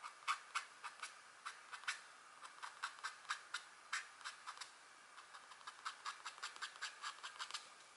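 A stylus in a green holder makes repeated fine scratch strokes across a flat, thin scratch art board, black coating over gold foil, etched with a deer or elk drawing, while the other hand, wearing rings, holds the board. About two dozen short, crisp scratches are heard, each a quick, bright rasp centred in the upper mids with no low end, fading almost instantly. The strokes come in an uneven rhythm at a quiet level.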